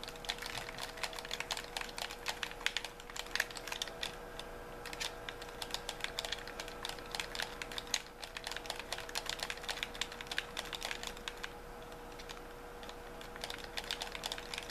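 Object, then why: Plastic game controller. A white handheld plastic gamepad with a hollow shell is held in both hands while the thumbs rapidly tap and press its buttons. The result is a dense, fast stream of sharp, bright plastic clicks with almost no ring, over a faint steady hum.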